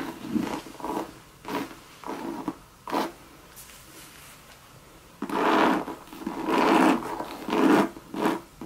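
Long red nails scratch and tap across the hollow monogram coated-canvas body of a Louis Vuitton bucket bag. About eight dry, rasping strokes are heard, the first few softer and separate, then a quiet pause before louder, fuller scrapes near the end.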